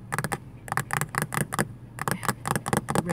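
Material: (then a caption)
Plastic. Long white nails tap and scratch across a thin, hollow-sounding grey plastic vanity-mirror cover set into a fabric-covered car sun visor. Quick clusters of light, dry clicks come in bursts, separated by brief soft scraping.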